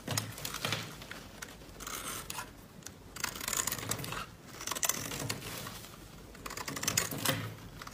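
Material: Soap.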